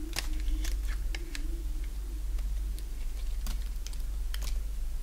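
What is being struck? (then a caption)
Bar of soap cut with a blade. A solid oval bar of dry green soap, held in the palm, is shaved into curls with a box-cutter blade. Short, crisp, bright scraping cuts sound over a steady low hum.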